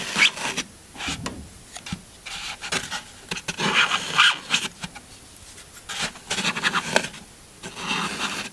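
The tip of a metal knife blade scratches and carves grooves into the top of a large, solid green floral foam block while the other hand steadies it. Irregular bursts of bright, crunchy scraping and rasping rise and fade, with short quiet gaps between strokes.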